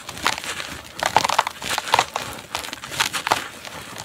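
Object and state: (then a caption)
Dry dirt chunk crumbling. A large dry red dirt chunk is squeezed by bare fingertips over a bowl and crumbles into powder amid thick dust. Dry, gritty crunches and crackles come in quick irregular bursts, bright and sharp with almost no low end.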